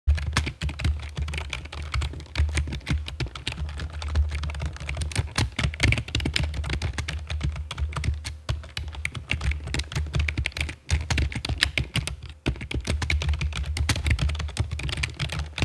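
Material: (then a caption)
Plastic. Long fake nails and fingertips type on a full-size black plastic computer keyboard with a hollow body and keycaps, resting on a stone table. A steady stream of quick taps rolls on, each a short, dry click over a deep, hollow thump that dies almost at once. Brief pauses break the flurry near the middle and end.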